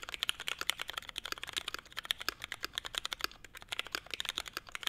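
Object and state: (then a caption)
Mechanical keyboard with ABS keycaps. Two hands type steadily with their fingertips on a small, hollow-cased Forever 65, a 65% mechanical keyboard with a navy case, Hyperglide MX Brown switches, a CF plate and grey/white ABS keycaps. Rapid, crisp clacks follow one another closely, each a short, bright tap that dies away almost instantly, with hardly any low-end thud.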